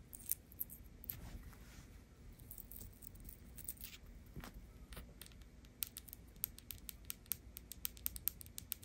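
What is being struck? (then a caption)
Small vinyl doll head. Long acrylic nails tap the cheeks and face of a small, hollow, molded vinyl/plastic head of a blue-haired fashion doll. Quiet, sharp, bright clicks come in a loose, irregular series, sparse in the middle and quicker toward the end, over a steady low background rumble.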